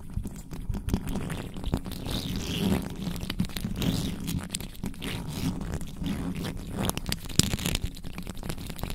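Long nails slowly scratch and rub the top of a black microphone's bare metal mesh grille with both hands, over its hollow head. The result is a continuous, low, rumbling scrape with crunchy, crinkly texture and faint bright hiss. Short clicks and ticks pop through the scratching at a steady, moderate level.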